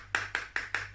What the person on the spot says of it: has a funny sound because it sounds like metal